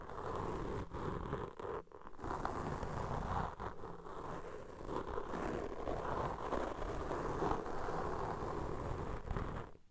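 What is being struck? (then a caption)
Foam microphone windscreen rubbed with cotton swabs. Two black foam windscreens of soft, porous foam on a pair of microphones are rubbed and scratched with the cotton tips of cotton swabs held in each hand by fingers with long pink nails. The result is a near-continuous, dense scratchy rustling with a heavy low rumble and a muffled, mid-weighted texture. It is broken by a few brief dips, then cuts off at the end.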